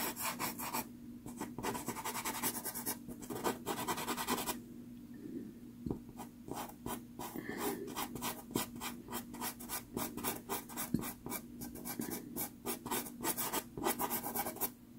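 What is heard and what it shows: A light wood-cased pastel pencil, held in the fingers, strokes and scratches across a small 4.5 inch sheet of sanded Pastelmat pastel card taped to a board. Quick, dry, rasping strokes come in dense runs with bright scratchy edges, easing into softer rubbing for about a second and a half near the middle before the brisk scratching resumes. A faint steady low hum sits underneath throughout.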